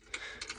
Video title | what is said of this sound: Mb trac 1300 muck spreading with Fleming barrel spreader | there's a hell of a rattle in this thing and it's just gently tapping away